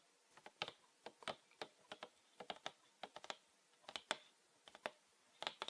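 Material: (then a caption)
Plastic. Fingernails tap and scratch along the ridged sides of a mid-size green PET plastic bottle with a red cap and Winarom label, filled with green liquid. About twenty quick, crisp clicking taps come in uneven bursts, bright and dry with almost no low end. Each one dies away almost instantly against a quiet background.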